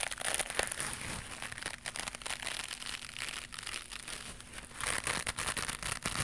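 A small white knitted mesh scrubber pad with a loop is held in both hands and scratched with long pink nails. This produces a dense, bright crinkling and scratching texture of rapid, short rasps at a fairly steady, quiet level, with a few louder bursts near the start and end.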